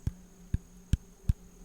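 An apple is tapped four times at a slow, even pace, each tap a short, dull, low thump with almost no ring, over a faint steady hum.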